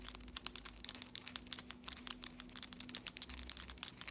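Long, solid stiletto acrylic press-on nails with patterned polish are tapped and clicked together repeatedly, tip against tip across both hands. The result is a rapid, uneven stream of sharp, bright, dry clicks that stop almost instantly, over a faint steady low hum.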